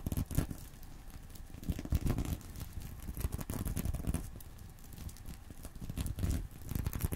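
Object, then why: Sequin-covered fabric purse. Fingernails scratch and squeeze the sequined surface of a small reversible sequin fabric purse resting on a pillow. The result is a soft, dense crinkling and rustling, with quick crackly bursts rising and falling throughout. The sound is heavy in the low range and has almost no ring.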